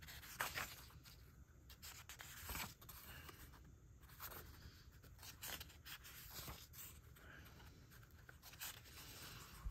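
Fingertips rub across the thin, yellowed, newsprint-like pages of a thick reprint catalog book and turn them. Quiet, dry rustling and brushing fill the clip, punctuated by brighter crinkly swishes and soft flaps as pages turn over.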